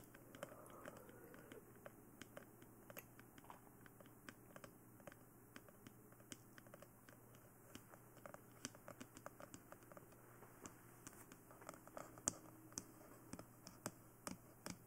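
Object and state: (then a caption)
Hollow plastic head tapped with nails. Long nails tap across a glossy black, hollow plastic dummy head microphone, striking the head and face. A steady run of quick, dry clicks and light scratches rises and falls, some taps sharper and brighter than others, over a faint low hum in a quiet setting.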